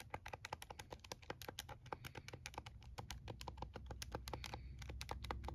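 A plastic scientific calculator is held in both hands while fingertips rapidly press and tap its plastic keys. Roughly 39 short, sharp clicks follow one another at a quick, uneven pace over a low, steady hum.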